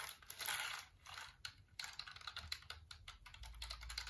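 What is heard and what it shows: Fingertips type on and rub across the keys of a black plastic computer keyboard held up close. The result is a quiet stream of bright, crisp key clicks and taps mixed with soft scratchy rubbing.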